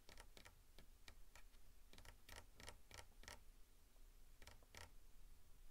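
Fingertips and nails tap and scratch along the shaft of a long, solid wooden walking staff held upright in both hands. Quiet, dry, irregular ticks with brief scratchy strokes stop almost instantly, over a soft low rumble.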